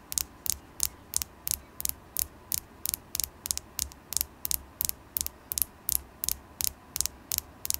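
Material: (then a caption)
Carnelian. A polished orange carnelian (chalcedony stone) tower point, solid and about palm length, is held in one hand and tapped with long glittery acrylic nails. Twenty-four short, sharp, bright clicks come at a steady pace of nearly three per second, each dying away almost instantly. A faint low hum runs underneath.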